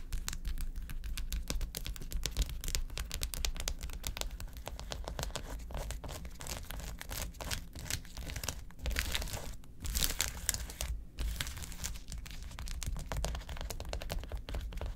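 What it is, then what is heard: Gel ice pack. Long acrylic nails tap rapidly on the gel-filled cells of a large, flat, quilted blue plastic gel ice pack. The result is a dense, continuous stream of quick, dry, crinkly clicks and scratches with bright edges, riding over a steady low hum for the full fifteen seconds.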